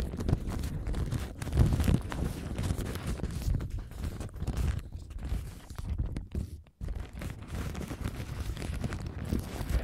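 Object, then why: Thin paper napkin. A thin printed paper napkin with a lemon pattern is scratched and crinkled with long gold nails while held in front of the camera. Continuous soft rustling, scratching and crinkling runs through the clip, mostly low and muffled. There is a brief near-silent gap just before the crinkling resumes.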